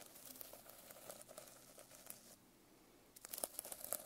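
A silver pen held in the hand scratches and drags its tip over the rainbow sequin cover of a medium hardcover notebook lying flat. It makes a soft, crinkly rasp with bright clicking ticks, pauses briefly, then returns with sharper, brighter scratches.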